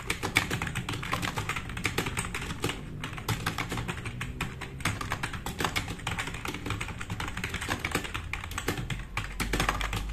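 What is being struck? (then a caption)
Plastic mechanical keyboard. Fast, continuous typing with both hands' fingertips on a compact RGB-backlit mechanical keyboard with black plastic keycaps, resting on a wooden desk. The keys give a dense stream of sharp, short clacks and clicks with bright tops and a steady low thump underneath. The keystrokes run unbroken for the whole clip.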